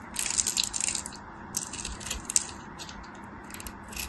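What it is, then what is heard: Dry bar soap being shaved. A metal craft knife scrapes and shaves along the edge of a solid, dry, hand-sized white bar soap with a textured surface, held in fingers with long white nails, as crumbs fall off. Bursts of crisp, bright scraping and crumbling come in clusters, strongest in the first second and again near the middle, over a faint steady hiss.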